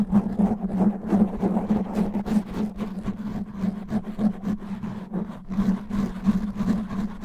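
Long natural nails slowly scratch and grip a black foam microphone windscreen, giving dense, uneven rustling and scraping bursts over a steady low droning hum near 200 Hz. The scratching comes in irregular, closely packed strokes with no clear pauses and little bright content.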